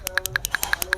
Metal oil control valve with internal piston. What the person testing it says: ini kan bisa maju mundur maju ini mundur ketika digoyang-goyang